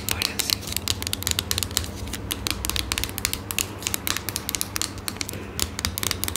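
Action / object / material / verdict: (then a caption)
scrape / small squeezable metal or laminate ointment tube / unknown / none. Long manicured nails and fingertips scratch, rub and crinkle the surface of a small, partly squeezed Kytta-Salbe ointment tube of metal or plastic laminate, with a printed white label and a blue cap end, held close in both hands. A rapid, dense run of sharp, bright scratchy clicks and crinkles plays over a steady low hum.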